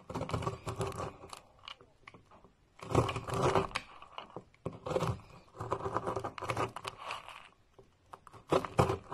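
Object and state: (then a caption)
Bar soap being cut and scraped. A metal knife blade cuts and scrapes a solid, palm-sized, pink and orange marbled bar of soap held in the hand, dropping crumbly flakes onto a pile. Bursts of dry, crunchy scraping and crackling come in uneven clusters separated by short quiet pauses, with a gritty low body and bright crumbling detail.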